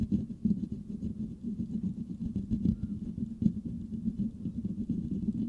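Fingertips and nails of both hands scratch the hollow metal mesh grille of a Blue Yeti microphone. The result is a steady, close, muffled rustling and scraping with a low hum-like body around 200 Hz. Frequent small bursts of scratching swell and fade throughout, with little high-end content.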